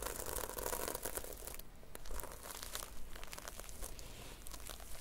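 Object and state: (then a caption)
Sequin-covered notebook. Long nails scratch and flip the plastic red and silver sequins on a notebook cover back and forth. It makes a dense, steady crinkling, rasping rustle full of bright ticks over a low background rumble, easing briefly before picking back up.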